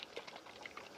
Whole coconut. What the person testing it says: shake it you hear it can you hear the juice inside